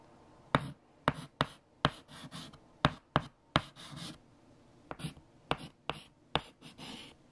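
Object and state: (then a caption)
Chalk writing on a chalkboard. Fingertips hold white chalk and write numbers on a large, flat black chalkboard. About twelve sharp chalk taps hit the board, with brief scratchy strokes between them.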